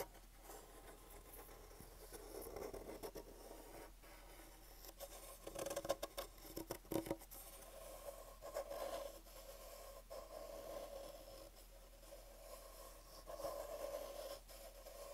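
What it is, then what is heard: Pine wood crate. Fingertips and nails scratch and scrape along the edges and slat gap of an unfinished light pine wooden crate with slats, held close to the mic. Quiet, dry, rasping scratches come in short bursts with pauses between, carrying a faint mid-range tone. The passages grow denser and louder around the middle and near the end.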